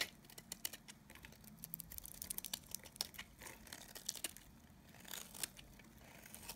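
A solid oval cream-colored bar of dry Nevskaya Kosmetika soap, held in the hand, is scraped and shaved with a snap-off utility knife blade. Quiet, dry, crisp scraping and crackling is heard, with many short bright ticks and flaking crunches scattered irregularly throughout.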